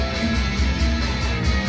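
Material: Nothing is struck.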